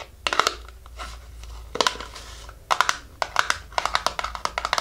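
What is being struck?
Small cardboard box.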